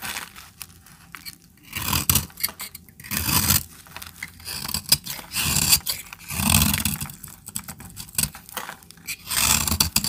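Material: Soap.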